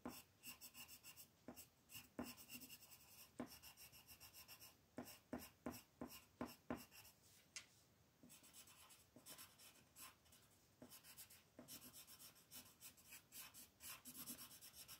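A green colored pencil is rubbed back and forth to shade a flat white paper mandala coloring sheet lying on a table while the other hand holds the sheet in place. Quiet, dry scratching strokes repeat in quick bursts, each with a bright, papery rasp and a faint low tap where the pencil grips the page.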